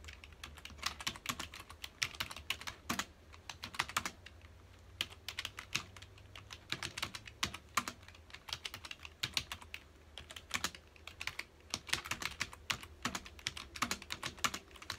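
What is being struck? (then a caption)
Plastic computer keyboard. Fingertips of both hands type on a full-size black plastic computer keyboard with hollow key housings, resting on a dark desk. The result is a continuous stream of quick, bright, clacky key clicks in irregular bursts, each dying away almost instantly, over a faint steady low hum.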